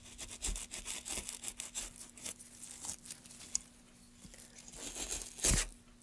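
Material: Pine wood.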